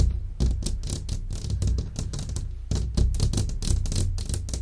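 Long fingernails tap rapidly on a large, flat glass window pane, a solid sheet set in a frame. The quick, dry clicks die away almost instantly over a steady low hum.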